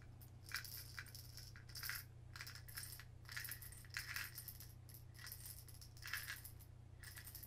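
A small clear glass spice-style jar with a lid, full of colourful plastic pony beads, is held in both hands, turned and shaken so the beads rattle inside. Bright, gritty bursts of clattering beads come in repeated waves over a steady low hum.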